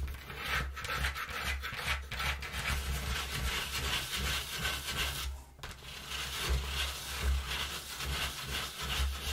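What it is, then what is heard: Cardboard box being rubbed and scratched. Fingertips and long nails rub and scratch the inner panel of an empty, partly folded brown corrugated cardboard box. A steady, dry, bright scraping hiss runs throughout over a constant low hum, with a brief quieter dip around the middle before the rubbing resumes.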